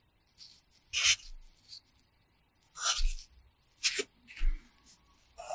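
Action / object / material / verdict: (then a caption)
scrape / wooden pencil on a paper notebook page / paper / none. A red wooden pencil held in the fingers scratches and rubs across the page of an open paper practice notebook lying flat on a pad, in short writing strokes. Several quick, bright, scratchy bursts are heard, some with a soft low thump beneath, separated by brief quiet gaps.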